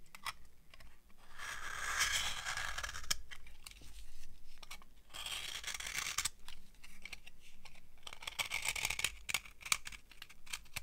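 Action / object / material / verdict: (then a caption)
scrape / soap bar scraped with a metal knife blade / soap / none. A metal knife blade scrapes a thin, dry beige bar of soap held between the fingers. Long, crunchy, bright shaving passes alternate with short crisp ticks and scratches, over a faint steady low hum.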